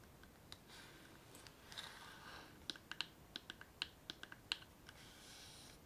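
A small, hollow, chest-shaped wooden box covered in patterned canvas or faux leather, with a metal clasp and studs, is held up and tapped and scratched with long nails. Soft, bright scratching swells in and out, broken by a run of sharp, quick clicking taps with almost no ring, all at a quiet level.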